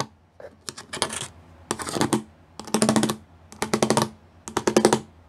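Fingertips and nails tap fast across the studs of a gray plastic studded sheet. Dry, bright clicking comes in several quick bursts of rapid taps with short pauses between them. Each tap is short and does not ring.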